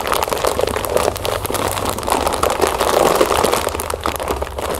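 Long nails scratch and squeeze the sides of a full, clear plastic bag of cereal puffs held upright. The result is a dense, continuous crinkling and rustling, strongest in the mids with bright crackles, over a faint low rumble.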